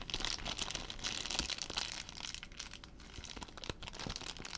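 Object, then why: Thin plastic zip-lock bag. A small, clear, thin plastic zip-lock bag, apparently empty, is held in both hands close to the microphone and crumpled and rubbed with the fingertips. The result is dense, bright, irregular crinkling with sharp crackles. It is loudest in the first two seconds, then settles into softer rustling broken by a few crisp snaps.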